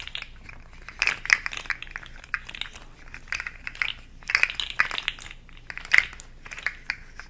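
A hand-sized, hollow, rainbow-segmented plastic articulated slug fidget toy rests in one palm while the other hand's long nails tap and scratch along its ridged segments. The result is a run of quick, bright clicks and scratchy rasps in uneven clusters, with very little low end.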